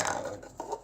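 A plastic Tupperware cup is dropped onto the floor, giving a hollow, clattering plastic knock with a mid pitch around 800 Hz and some bright edge. It strikes twice: a first clatter that fades over about half a second, then a smaller second bounce.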